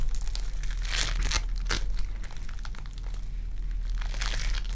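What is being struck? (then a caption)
Foam bead clay ball. A ball of lilac foam bead clay is pulled into two pieces and stretched between the hands, held with fingers and nails. It gives off a steady sticky crinkling and crackling, with brighter bursts of crunching as the beads pull apart over a low, constant rumble.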